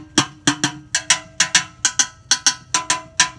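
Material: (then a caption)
Enamelled metal. A hollow, empty cream enamel metal pot, held upside down, is struck 14 times with a thin stick in an uneven rhythm. Each strike gives a bright knock with a short bell-like ring, pitched around 290 Hz with strong high overtones.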